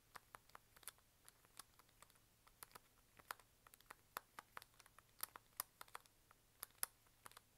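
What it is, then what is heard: Plastic pill bottle tapped with fingernails. Fingernails tap and click rapidly on the body and cap of a small, hollow, white plastic pill bottle or tube held horizontally in both hands. About 35 quiet, bright, dry clicks land in an irregular, typing-like rhythm, each dying away almost instantly over a faint low hum.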